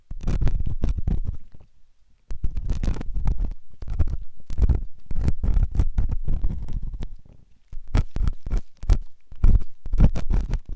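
A metal ear pick, its tip held in the fingers, scrapes inside the ear canal of a white solid silicone ear on a binaural microphone. The result is close, heavy, low rumbling scratches in dense bursts. Brief quiet gaps fall near 2 and 7.5 seconds.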